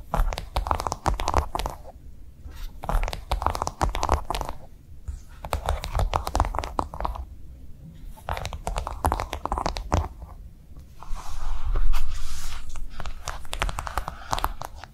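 Long nails tap fast on a pink, soft silicone piggy phone case with a raised pattern, fitted on a phone lying flat. The taps come in quick bursts of about four per second, with short pauses between them. They sound like dull, low thuds with a crinkly, scratchy edge.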